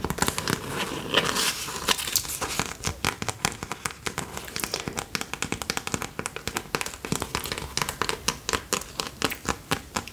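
A small sealed plastic snack packet with an orange fruit print and serrated edges is held in both hands and crinkled and squeezed by fingertips with long nails. The result is a dense run of sharp, bright crackles and crinkles. They start as a continuous rustle and break into quick, distinct crackling bursts.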